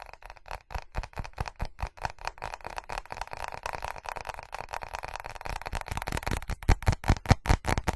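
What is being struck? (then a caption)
Ceramic object. A ceramic object is tapped and scratched quickly and unevenly, making a steady stream of short, dry clicks with a low thud beneath them and a faint scratchy hiss between taps. The taps grow louder and heavier near the end.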